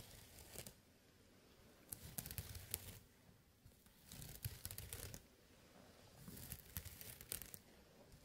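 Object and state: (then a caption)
Burlap pouch being scratched. Fingertips repeatedly scratch the coarse woven surface of a small jute burlap pouch with a red drawstring, resting on a mat. The result is dry, rasping bursts of scratching and crinkling, with a low rumble and bright crackle. The bursts come in uneven clusters separated by quiet pauses.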